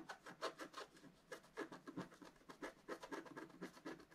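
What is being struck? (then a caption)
Scratch art paper card scraped with a wooden stylus. A wooden stylus scratches the black coating of a flat, solid scratch art card, about A4, with coloured foil paper underneath, lying on a table. Quick, quiet, dry scratching strokes come in a steady series of short bursts, each with a soft rasp and little low end.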